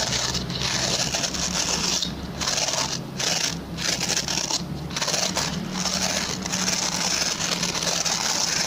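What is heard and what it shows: Fingertips and short nails scratch along the plastic pin bristles of a hand-sized, oval, white plastic brush. The result is a steady, dense, bright rasping crackle with brief dips in loudness between strokes, over a faint low hum.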